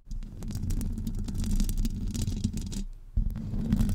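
Long acrylic nails from both hands wrapped around a hollow metal wire-mesh microphone grille scratch it continuously, giving a dense, boomy rumble with a steady low hum near 195 Hz and thin bright scratchy flecks on top. The scratching runs unbroken for nearly three seconds, drops to a brief lull, then resumes strongly.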